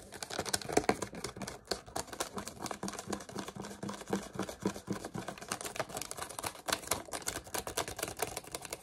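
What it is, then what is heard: Crushed plastic water bottle. A small, empty clear plastic water bottle with its cap and label, already crumpled, is held in both hands and twisted and squeezed with the fingers. It gives dense, continuous crinkling and sharp crackling snaps that spread from low to bright high tones. The sound runs steadily for about nine seconds.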